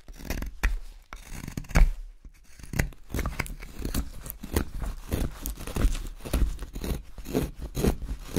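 A steel carving knife shapes a long, solid blank of pale, light carving wood with a spoon outline drawn on it, making slicing and scraping cuts. A steady run of short, dry, scratchy strokes is heard, each stopping almost at once, with most of the energy low and little brightness on top.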